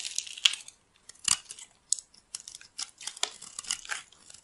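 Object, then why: Bar of soap scraped with a metal blade. A metal utility-knife blade scrapes and shaves flakes off the surface of a solid purple bar of dry soap held in the palm. The result is a series of short, crisp, crackling scrapes with uneven gaps, all bright and high with almost no low end, each cut stopping dead with no ring.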